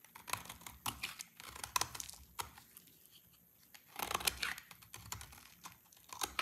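A palm-sized, solid bar of dry green soap, held in the hand, is scraped and carved with a snap-off utility blade, shaving off long curled strips. The sound is a run of dry, crisp, bright scratching and crackling bursts, with a brief quiet pause in the middle. Each scrape stops short with no ring.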